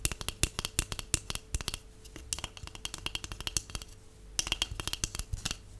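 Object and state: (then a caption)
Empty cardboard tube. A large, empty, hollow white cardboard tube is tapped rapidly with long acrylic nails and natural nails. The taps come as quick bursts of sharp, bright clicks over a soft, hollow low thump, with brief quieter gaps between the bursts.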